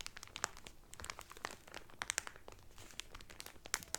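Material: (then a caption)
Cellophane. Fingertips and medium-length painted nails press and crinkle the loose, thin clear cellophane sealed around a folded blue terry Carnival towel lying flat on a table. The result is quiet, continuous, bright crackling, scattered with sharp, crisp snaps that die away almost instantly.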